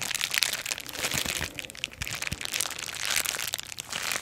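Long acrylic nails and fingertips press, scratch and crinkle the bubbles of a small flat sheet of clear plastic bubble wrap held in both hands. A dense, bright crinkling and crackling runs throughout, peppered with short, dry clicks and almost no low end.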